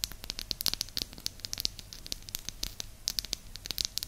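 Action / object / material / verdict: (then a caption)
tap / small flat wooden disc / wood / none. Long nails tap and scratch a small, solid, flat round disc of light wood held close to the mic, making a fast run of dry, bright clicks and crackly scrapes. The sound is high and crisp, with no ring after each tap.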